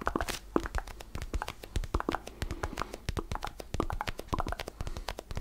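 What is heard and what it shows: An orange mini basketball made of textured rubber with black seam lines is held in both hands close to the microphone while fingertips tap and scratch its surface. Rapid, soft, dull taps with a hollow low thump and short clicky attacks mix with light scratchy rustling. Each hit dies away almost at once.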